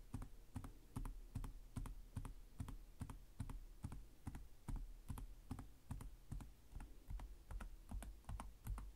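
One hand types with its fingertips in slow, uneven taps on the plastic chiclet keys of a black laptop's hollow chassis. Each keystroke gives a soft, hollow low thud with a faint bright click on top, about two or three per second. The taps are quiet and die away quickly.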